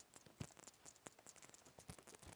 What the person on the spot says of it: 이렇게 유리 소리가 나지